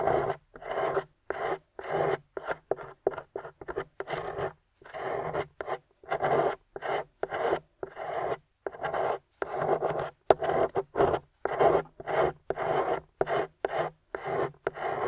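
A gold-painted plaster bar embossed "GOLD" is held in the hand while a small metal spoon-shaped pick scrapes its white plaster into powder. About 37 short, dry, rasping scrapes come in an irregular rhythm, each with a bright, gritty texture and no ring after it.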